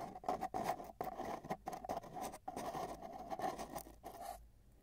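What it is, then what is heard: Cardboard tube. Metal tweezers held in both hands scratch and tap along the surface of a long, hollow, empty brown cardboard tube with tape bands, lying on a bedsheet with a microphone inside it, working toward the ends. The tube gives a steady, hollow, resonant tone around 730 Hz under a busy patter of dry scratches and quick taps. The sound ends in a brief fade to near silence.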